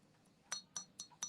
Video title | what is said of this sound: Live Sale 3/2/26 at 8 eastern | When there's a crack, you can sort of when you thump it, you'll hear it.